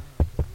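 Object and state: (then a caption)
Hollow rear armrest panel. Three knocks on the panel behind the rear armrest in the back seat of a Renault Arkana, where there is no ski hatch. Each knock is a short, low, hollow thud centred around 70 Hz that dies away almost at once. The panel sounds hollow, as if the rear parcel shelf sits directly behind it.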